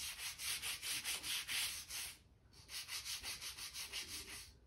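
A hand-held stiff gap brush sweeps and scrapes dirt and dust along a board seam of a light oak plank floor. Quick, bright, hissy back-and-forth strokes repeat at a steady pace, pause briefly just past the two-second mark, then resume in the same rhythm.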